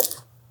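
A knife slices through the charred, crispy skin of an air-fried tandoori-style chicken thigh, making a single short, dry crunch with bright high-frequency crackle. The sound fades quickly, and the dark skin is charred, not burnt, and crisp.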